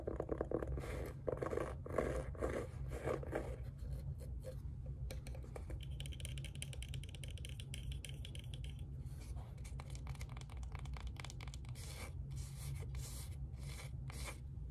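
Fingertips and nails scratch and tap the cover of a small kraft cardboard-covered notebook with a black band and a metal binder clip, held in both hands. Dense, rapid scratching and light tapping run throughout over a steady low rumble. Louder, brushier strokes open the clip, and a brighter, raspy band sits in the middle section.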